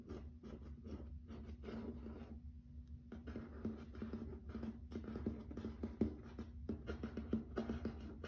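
Fingertips and nails tap and scratch across a grey wood-grain plank wood-look laminate floor. Quiet, dry taps and rough scratching strokes sit over a steady low hum, with brief bright scratchy bursts and short, dead-sounding hits.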